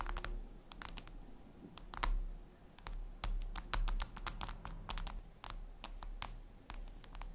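Long red nails tap rapidly on a flat, glossy black reflective glass surface, likely a tablet screen. They make sharp, bright, irregular clicks like typing. A steady low hum runs underneath.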